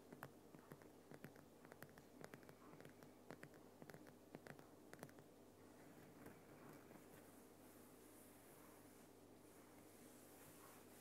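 Fingernails tap and scratch the top and sides of a large, solid, lit Himalayan rock salt lamp. Sharp, dry clicks come in the first five seconds, then give way to a continuous soft, gritty scratching. A steady low hum runs underneath throughout.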